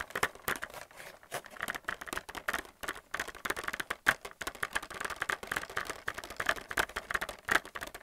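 Fingernails tap rapidly on a hollow clear plastic blister pack holding white plastic paint palettes on a cardboard card. The result is a fast, uneven run of dry, clicky taps with a crinkly, bright plastic tone centered around 1.5 kHz. Each tap stops almost instantly, with almost no low end.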